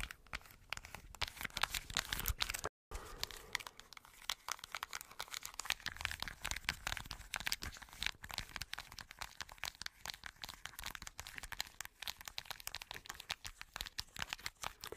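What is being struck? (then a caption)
Plastic-and-foil blister pack. Long nails tap and scratch the rows of hollow bubbles on a small plastic-and-foil blister card held near the mic, making a dense run of quick, crunchy, crinkly clicks. The sound is bright and dry with no ring, broken by one brief silence near the three-second mark before the tapping and scratching carry on steadily.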